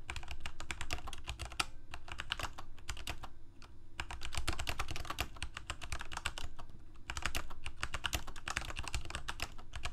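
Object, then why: Plastic mechanical keyboard. Fingertips of both hands type on a Corsair K68 full-size mechanical keyboard with plastic keycaps, Cherry MX Red switches and a backlight, resting on a desk. Quick, sharp, bright key clacks come in a dense, steady stream, briefly thinning around the middle, over a constant low hum.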